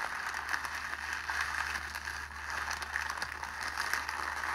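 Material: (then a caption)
Cellophane. A clear cellophane sheet is balled up and squeezed tightly between both hands, producing a continuous dense crackling and crinkling. The crackle sits mostly in the mid range with sharp, bright snaps scattered throughout, over a faint steady low hum.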